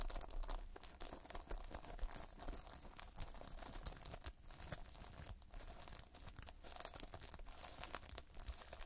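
Fingertips press, pinch and scratch multicolored foam-bead Playfoam, a toy of foam beads in a sticky binder, up close. A dense, continuous stream of soft crackling, crinkling and sticky tearing pops runs throughout over a low, steady hum, with quick clicks that stop at once.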